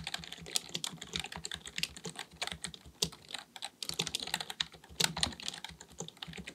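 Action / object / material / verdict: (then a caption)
tap / plastic computer keyboard / plastic / none. Both hands type continuously with their fingertips on a black, full-size, hollow-bodied plastic keyboard resting on a desk, likely a mechanical one. The rapid key taps make a steady stream of short, bright, dry clicks with a little low thump beneath, with no ring after each press.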